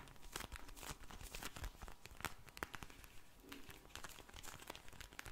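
Long blue nails scratch and tap a pink vinyl gel bead eye mask, full of beads, held in the hands. The result is a steady run of soft, crinkly plastic crackles and sharp little clicks.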